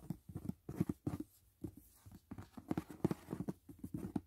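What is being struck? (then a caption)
Rigid paperboard gift box. Fast fingertip and nail taps patter on the lid of a closed, rigid white paperboard gift box resting on a bed. About twenty quick, dry hits come in uneven bursts, each a dull, low knock around 160 Hz that dies almost instantly, with no ring and little brightness.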